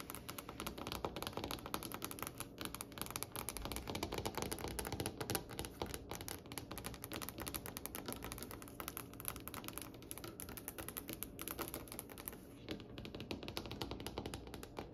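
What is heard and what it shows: Long pointed nails of both hands tap rapidly on a glossy, varnished solid dark wood tabletop. The result is a dense, steady stream of quick, dry, clicky taps with a bright edge and almost no ring, like fast typing.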